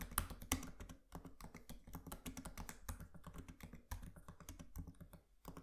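Fingertips of both hands type rapidly on the solid, low-profile plastic keys of a MacBook laptop with a metal body, resting on a desk. A steady stream of quick, dry key taps and clicks with a soft low thump carries through, each dying away almost instantly. Two sharper, brighter clicks stand out near the start.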